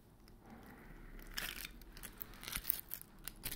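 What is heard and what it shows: A large white glitter-coated foam Christmas ball with silver and grey stars is scratched and tapped by fingernails on its rough surface. A soft, gritty scratching builds into bright, crackly rasps and sharp little taps with a low hum underneath. The bauble is then hung by its string near the mic.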